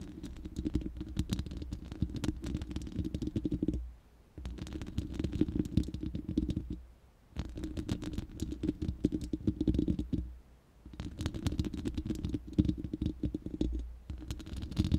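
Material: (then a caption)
Steel mesh. Long nails scratch and tap the bare, hollow round steel mesh grille of a studio microphone. Dense, crackly scratching and tapping comes in four bursts separated by short pauses, with a heavy, hollow low rumble under faint bright clicks.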